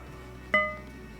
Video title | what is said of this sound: Bargain Gun Auction Walkaround - Holts Sealed Bid Dec '23 | dead there's no ring to it